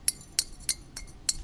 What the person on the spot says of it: sounds more like glass when you ting it